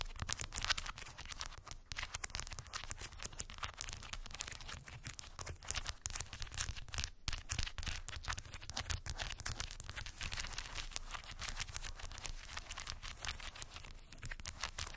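Long white acrylic nails tap and scratch rapidly over a small rectangular cork board densely covered with solid, round wooden beads. A continuous stream of fast, dry, bright clicks and scratchy rattles runs the whole time over a low, steady rumble, with no ring after each tap.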